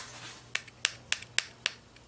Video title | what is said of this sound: Xray tube deconstruction complete | you'll notice that this window happens to be made of metal you know you can hear that